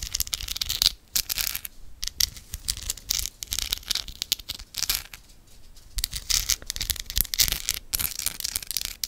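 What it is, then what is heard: Amethyst crystal cluster. Long acrylic nails scratch and tap a hand-sized solid amethyst cluster with rough purple crystal points, held in one hand close to the microphone. Bright, crackly scratching and sharp clicking taps come in quick bursts, with brief quieter pauses around the first and fifth seconds.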